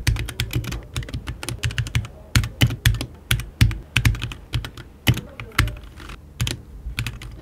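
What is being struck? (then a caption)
Mechanical keyboard with plastic keycaps and aluminium case. Fingertips of both hands type rapidly on a compact 60% HyperX Alloy Origins 60 mechanical keyboard with RGB backlight, plastic keycaps, an aluminium body and Red switches, resting on a wooden desk beside an untouched mouse. Quick, dense keystrokes give a deep, low thock with a bright clack on top, each stopping almost at once. The typing runs in uneven bursts with brief lulls.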